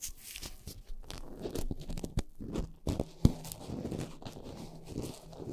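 Long nails of both hands scratch and tap the tops of two black foam windscreens on upright microphones. The result is a soft, close, dense crackle of low, muffled scratching and crunching with a few sharper taps.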